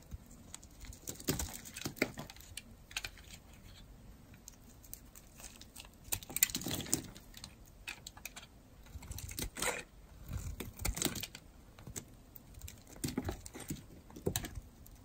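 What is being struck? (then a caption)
Bar of soap shaved with a metal blade. A metal blade shaves and carves pieces off the surface of a solid, dry blue-and-white striped bar of soap held in the hand. Short, crisp scraping and crackling cuts come in irregular bursts, bright and dry with almost no ring, each stroke flaking off soap.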